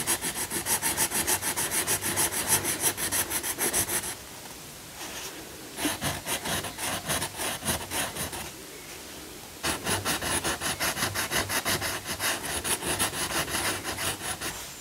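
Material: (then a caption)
Paper. An orange wooden coloured pencil makes short rubbing and scratching strokes on the lion's face of a paper colouring book page lying flat, while the other hand holds the page. The strokes come as quick, bright, raspy scratches at about three per second, broken by two brief quiet pauses before the colouring resumes.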